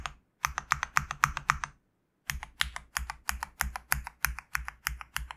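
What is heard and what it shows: A GMK67 65% mechanical keyboard with a black case, white PBT plastic keycaps and a knob is tapped by fingertips, mostly with one hand and sometimes with two. Quick, bright clacks with a low thump beneath each arrive in an uneven rhythm, broken by a short silence before the taps resume.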